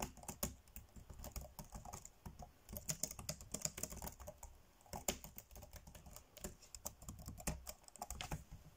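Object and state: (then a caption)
Plastic laptop keyboard. Fingertips tap fast on the dark grey plastic chiclet keys of a laptop keyboard, typing in a quick, uneven stream of clicks. Each keystroke is a short, dry tick with a soft low thud and a bright edge, dying away almost instantly and overlapping into a dense, continuous patter.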